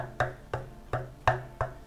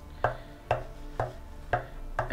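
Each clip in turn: First: dense section of ash bowl blank. Second: dense section of claret ash wood blank.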